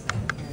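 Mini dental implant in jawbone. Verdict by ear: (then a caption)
Solid. Two sharp, short taps on mini dental implants placed in the upper jawbone, struck to check their stability after placement. Each tap gives a brief, solid click over a low background hum, showing the implants are firmly anchored in the bone.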